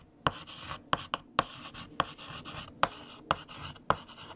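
A hand writes with yellow chalk on a large, flat black chalkboard. Sharp, bright taps as the chalk strikes the board come at an uneven pace, with dry scratching strokes between them.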